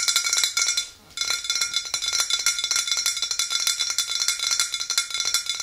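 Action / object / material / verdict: tap / glass swing-top bottle with liquid / glass / none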